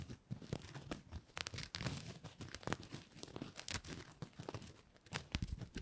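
Fingers and nails rub and scratch a red-and-white patterned Christmas bow of stiffened fabric ribbon held in both hands. The result is a dense run of soft crinkling and scratchy rustles, with sharper bright bursts rising over a low, muffled handling rumble.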